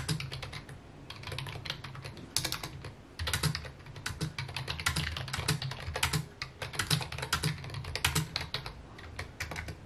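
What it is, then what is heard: Plastic computer keyboard. Fingertips type on a full-size white and mint plastic computer keyboard with a hollow key housing, resting on a wooden desk. Dense, quick clicky taps carry bright high clatter over a low thud from the desk, each keystroke dying out almost instantly. Brief pauses break the otherwise steady typing.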